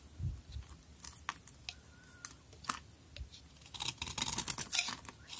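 A utility knife blade scrapes across a solid pink bar soap held in the hand, shaving flakes from its surface. Short, bright, crisp scraping strokes come at an uneven pace over a faint low rumble, growing denser and louder toward the end.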